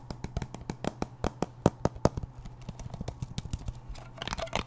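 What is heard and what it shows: Fingernails tap quickly on the lid and side of a small round blue metal Nivea cream tin. The sharp, dry clicks come in an uneven stream over a steady low hum, growing denser and brighter toward the end.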